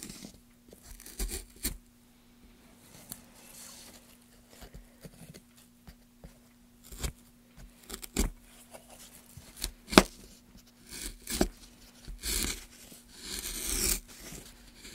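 A wooden-handled gouge, held in gloved hands, scrapes along the grooves of a solid pale softwood block. The quiet, irregular strokes come as short, dry, bright scrapes and crunchy rasps with little ring, over a faint steady low hum.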